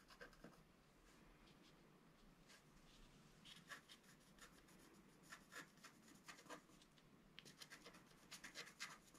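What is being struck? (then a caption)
Scratch-art card scratched with a wooden stylus. A pointed wooden stylus scratches lines into a flat, black-coated scratch-art card of about A4 size, lying on a table and held down by one hand. Quiet, dry, bright scratching strokes come in short bursts over a faint, steady hiss, growing more frequent toward the end.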